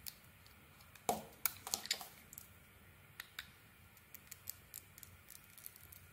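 A metal blade shaves the purple outer layer off a solid purple Sana Med soap bar with gold studs and a cream interior, held in the hand, scraping and cutting into it. Quiet, crisp, bright scrapes and short clicks come in a louder cluster early on, then sparser light ticks follow.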